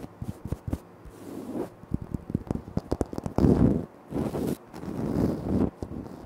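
Fingertips and short nails tap and scratch on a large, flat, solid speckled granite-like floor tile. Quick, dull taps with short decay alternate with longer rasping scratch strokes whose energy sits mostly in the low and mid range.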